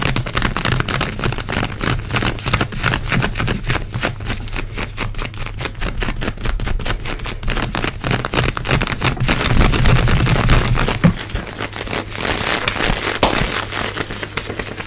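Long acrylic nails quickly scratch soft grey and black synthetic stretch leggings worn on the knee and thigh. The result is a rapid, fairly irregular run of dry, bright scratching strokes over a steady low hum, building slightly louder near the middle before easing off.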